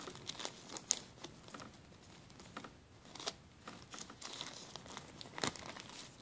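A clear plastic zip-lock bag's corner is rubbed and folded with fingertips, giving soft, irregular crinkling with bright, sharp crackles. There is little low end, and the sound is quiet with brief louder snaps scattered through it.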